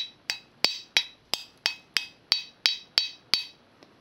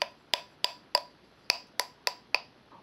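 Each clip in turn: First: bisque-fired clay bell, dry hard tone. Second: air-dry clay bell, dull and non-resonant.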